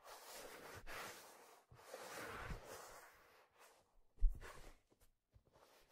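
A hollow black leather fedora is held by the brim and turned while hands rub and grip the leather brim and crown. Soft, breathy rubbing swells alternate with near-silent pauses, broken by one sharper low thump about two-thirds through and a few faint brushes after.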